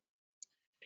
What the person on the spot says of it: sounding the tile this is to make sure there's no hollow tile